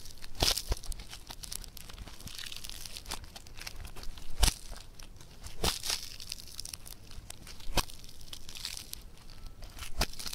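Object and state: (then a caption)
Foam bead clay (floam) being stretched and torn. Both hands stretch and tear a blue multicolor foam bead clay (floam), making a steady crackling, crinkly fizz. Sharp, bright pops stand out over the quieter background crackle throughout.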